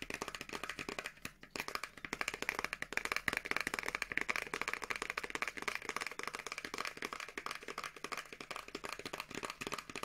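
Long nails rapidly tap and scratch a small teal printed paperboard box for a Revolution Beauty moisture cream, with the product inside. The result is a steady stream of quick, dry, clicky taps and papery scratches with a bright, mid-high tone around 2 kHz. Each tap dies away almost instantly, with almost no low end.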